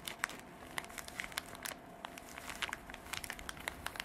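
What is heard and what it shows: Long dark artificial nails scratch a small, soft, hollow cream canvas zippered pencil pouch with printed drawings, held in both hands. Quiet, dry, crinkly scratching comes as a rapid, irregular series of short, bright ticks and rasps over a faint hiss, each one cutting off almost at once.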